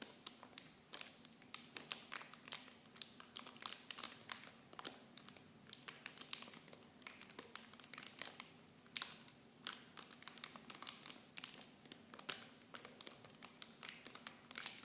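Fingers crinkle the clear plastic packaging wrapped around miniature shampoo bottles. The result is a quiet, steady stream of sharp, bright crackles and rustles, with dense clusters of crisp pops that stop almost instantly and carry almost no low end.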